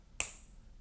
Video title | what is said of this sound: How to JMPI Hollywood | the knuckles of the right hand tap it one time to ensure it sounds solid